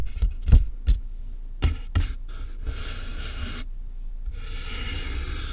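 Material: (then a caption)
Cardboard. Fingernails tap the top of a large hollow cardboard box, making several sharp, deep, hollow thuds with quick decay. Fingers then tap and rub along the box's sides, producing a steady, bright scratchy brushing that briefly pauses before continuing.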